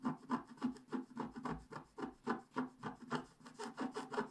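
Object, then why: Scratch-art paper page scratched with a wooden stick. A wooden stick scratches across a black-coated scratch-art paper page held flat by hand, working near the head of the picture. The result is a quick, uneven series of short, dry rubbing scratches, about three or four strokes per second. Each scrape has a low-mid core and a raspy upper edge that cuts off almost immediately.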